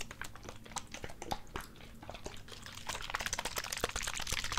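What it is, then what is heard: Plastic squeeze bottle, tapped. Fingertips and nails rapidly tap and crunch a small, hollow, clear plastic Gatorade squeeze bottle with an orange G cap, close to the mic. Quick, dry, clicky taps come in an irregular, steady stream, each dying away almost instantly, with bright crinkly crackle over a soft low thump. The tapping grows louder and denser in the last couple of seconds.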